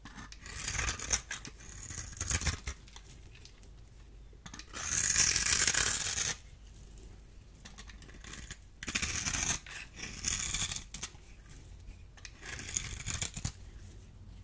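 A solid, dry green bar soap held in hand is cut into cubes and scraped with a small metal blade, so chips fall off. The sound is a series of bright, crisp scraping and crumbling bursts. A longer, louder rasping stretch sits in the middle, with short dry clicks between the strokes.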